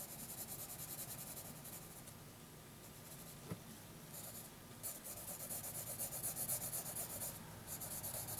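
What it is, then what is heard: Pencil scratching on paper. A graphite pencil held in the fingers scratches and shades on a thin lined notebook paper sheet lying flat. The sound is mostly continuous, bright, papery rubbing with a brief sharp tick partway through. The strokes grow louder and more rhythmic toward the end.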